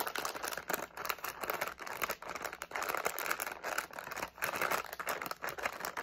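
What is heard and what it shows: A medium flexible plastic SweeTARTS candy pouch with candies inside is held in both hands while fingertips crinkle, squeeze and shake it. The result is a dense, fast, bright crackling and crinkling centered in the midrange near 1.3 kHz, with little low end and only brief dips between bursts.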